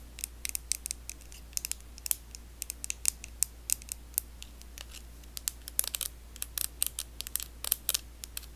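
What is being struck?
Plastic facial cleansing brush.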